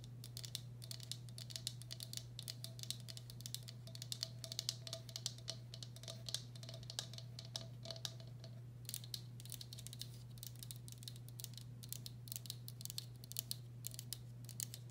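Long black acrylic nails tap and scratch the outer wall of a medium, hollow, empty turquoise speckled glazed ceramic bowl. The result is a quiet, continuous stream of quick, bright clicks and scratchy patter with almost no ring, over a steady low hum.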